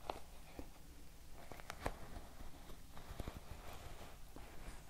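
Long nails tap and scratch the wooden back and wooden pins of a wooden paddle hair brush. Soft, quiet, dry clicks and short raspy scrapes sit over a low, muffled rumble, each tap dying away almost instantly.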